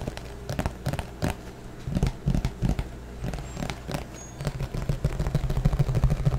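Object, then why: Plastic flying disc. A green plastic frisbee, thin and hollow underneath, is gripped in both hands and tapped and scratched with the fingertips. It makes fast, irregular hollow taps with a dull, low body and very short decay, mixed with crackly scratching that grows busier toward the end.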